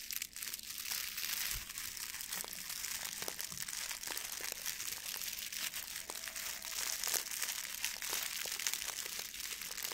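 A blue metallic plastic ribbon gift bow is crumpled and rubbed with the fingers and nails. The result is a steady, bright crinkling full of quick, sharp crackles that runs for the whole clip at a fairly even level, with almost no low end.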